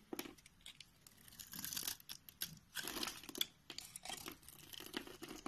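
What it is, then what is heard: Bar soap being shaved. A solid white bar of soap held in the hand is sliced with a box-cutter blade, peeling off thin layered sheets. The sound is a quiet, bright run of scraping and crinkly tearing cuts, with short bursts between brief pauses.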